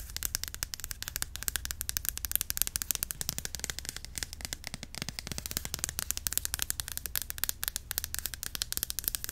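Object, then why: Plastic cream bottle. A white Cantu curl activator cream bottle with a flip cap, about 350 ml, hollow and partly filled, is held upright and tapped quickly with long acrylic nails. The result is a dense, continuous stream of sharp, bright clicks that die away instantly, over a steady low hum.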